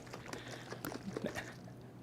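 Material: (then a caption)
Clay slurry. A tightly lidded glass jar of freshly mixed bentonite clay and water, three parts water to one part clay layered water-clay-water, is shaken, giving a soft, continuous liquid sloshing with a few brighter splashes over a low hum. The slosh shows the mix is still runny and not yet swelled, because the clay takes a couple of hours to swell fully.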